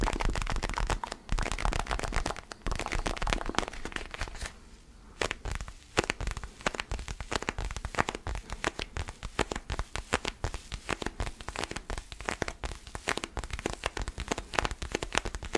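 A small, solid orange foam basketball stress ball, held in both hands, is scratched with fingernails. It produces a dense, continuous run of dry crackling and scratching ticks with a lot of low rumble underneath, and the sound briefly softens around the five-second mark before resuming at full intensity.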